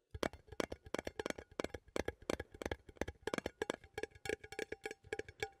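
A small cylindrical metal coffee tin with a lid, held in one hand, is tapped on the lid and side with fingernails. About 31 quick, dry taps in a steady, uneven rhythm give short, clicky tones centered around 344 Hz with bright edges, each dying away almost instantly.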